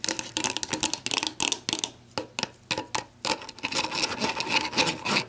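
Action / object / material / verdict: tap / plastic screw cap on a plastic bottle / plastic / none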